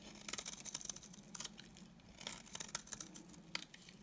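A solid, dry beige bar of soap has its edges and face shaved with a utility knife blade. Quiet, crisp scraping and crackling comes in short bright bursts, with soft flakes pattering between strokes.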